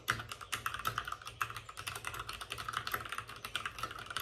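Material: Plastic.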